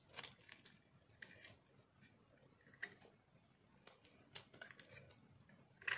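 A small metal cutter blade shaves and carves crunchy flakes off a solid white bar of dried soap held in one hand. A series of short, dry, bright scraping crunches sounds at uneven intervals over a quiet background, each dying away almost instantly, with the sharpest cut at the very end.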